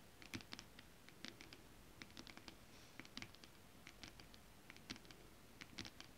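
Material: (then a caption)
Synthetic fabric. Curled fingers with long acrylic nails scratch and tap a flat sheet of shiny holographic mermaid scale-printed fabric. A quiet, irregular patter of short, bright clicks and light scratches sounds like typing, each tick dying away almost instantly over a soft, steady hiss.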